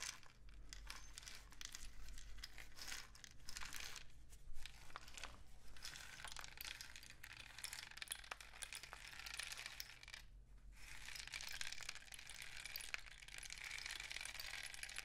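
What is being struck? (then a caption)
Cardboard rain stick tube. A long, hollow, painted cardboard rain stick with a woven end cap is tilted and rubbed with fingertips. It makes a continuous bright, crinkly patter and rustle over a steady low hum, with brief dips near 4 and 10.5 seconds before the trickling swells again.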